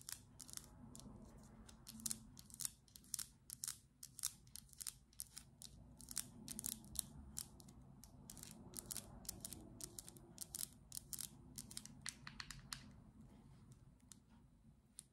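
Long acrylic nails scratch and tap a small teal plastic cream jar with a white lid as it is rotated in the hands. A steady run of sharp, bright clicks and scratchy ticks sounds over a faint low rumble, each tap dying away almost instantly.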